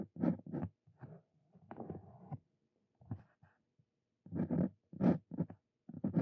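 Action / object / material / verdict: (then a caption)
scrape / steel dip pen nib on paper over a wooden desk / paper / none. A Brause Cito Fein steel dip pen nib scratches handwriting strokes across a thin paper card resting on a wooden desk. Quiet, dry scratching comes in short bursts separated by pauses, with most of the energy low and muffled and little brightness. Each stroke stops almost instantly, leaving no ring.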